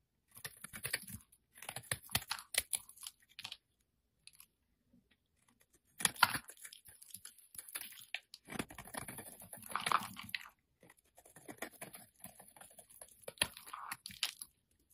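A solid yellow soap bar held in the hand is carved and scraped with a metal utility-knife blade, with chunks and flakes falling off. The sound is a string of dry, crisp crunching and scraping bursts with short clicks and a bright edge, broken up by brief pauses.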